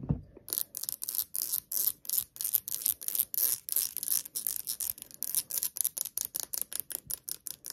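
Long acrylic nails tap and scratch the ribbed sides and bottom of a small, hollow, nearly empty clear glass jar held in the hands and tilted. The result is a quick, steady run of dozens of short, bright, hissy clicks and scrapes with almost no ring, after a soft low thump at the start.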